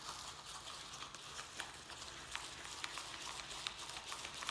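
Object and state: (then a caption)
Plastic plant pot being scratched. A round black plastic plant pot holding soil and a small succulent is held in both hands while fingertips and nails scratch and squeeze its thin plastic walls. The result is a steady, quiet, bright crinkling scratch with several sharper clicks standing out.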